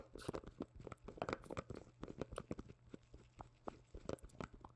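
Black-gloved fingertips tap and knock on a small white plastic cream jar with a printed label and a dark lid, held close to the mic. Each tap gives a short, hollow plastic knock in a quick, irregular series of light and firmer hits, with no lingering ring.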